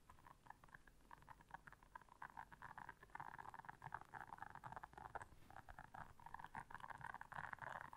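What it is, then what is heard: Silicone scrubber pad. Long nails quickly scratch and tap the bristles of a blue silicone bristle scrubber pad. A quiet, dense stream of rapid clicks and scratchy rustling sits mostly in the midrange, thickening into steadier bursts of scraping.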